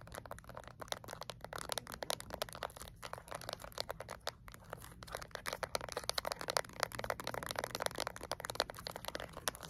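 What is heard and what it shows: Long acrylic nails tap fast and lightly scratch a small, flat plastic LED remote control with rubber buttons. The result is a dense, quick run of dry, crisp clicks and ticks centered in the midrange, with bright edges and very little low end. The taps stop instantly with no ring, over a faint low background rumble.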